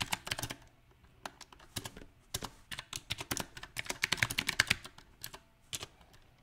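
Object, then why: Mechanical keyboard, plastic keycaps on metal frame. Fingertips tap and type on a mechanical keyboard with round plastic typewriter-style keycaps set on a silver metal frame. The bright, dry key clicks die away almost instantly and come in an uneven rhythm, with quick bursts broken by short pauses.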